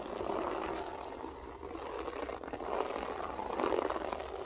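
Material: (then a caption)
Carpet fibre. Long acrylic nails scratch across a flat beige loop-pile carpet with a textured pile. The result is a steady, dry, raspy scratching that swells and eases in soft waves, concentrated in the midrange with little deep or bright content.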